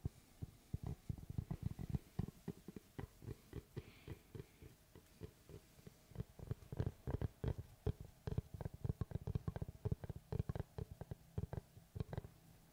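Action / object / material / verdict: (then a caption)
tap / round wooden tree slice / wood / none. Fingertips tap quickly and irregularly on the surface of a large, round, solid wood slice with a bark edge, which is then moved in front of the microphone. Each tap is a short, dull, low thump that dies away almost instantly, with no ring.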